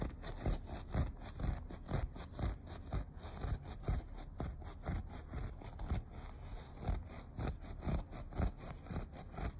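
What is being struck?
Looped carpet pile.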